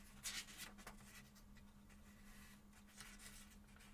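Fingertips slowly turn the paper pages of a small paperback book held open, rubbing and flipping them while other books rest untouched on the table. Soft, bright papery rustles and brushing swishes come and go over a faint steady low hum. The level is quiet throughout, with a few slightly louder flips near the start.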